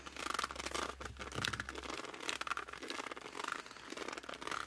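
A laminated cardboard board book, tilted edge-on, is gripped and squeezed by fingers along its cover and edges. Close, bright squeaks and scratchy rubbing come in repeated bursts, with a faint low hum in the first two seconds.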